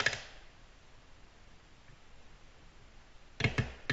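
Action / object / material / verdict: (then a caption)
tap / glass tabletop / glass / none. Very long natural nails, painted pink-blue with fingertips curved down, tap quickly with both hands on a large, flat, solid, glossy black glass tabletop. Four sharp, bright clicks with a slight low thunk and very short ring are heard: one at the start, then a quiet stretch, then three close together near the end.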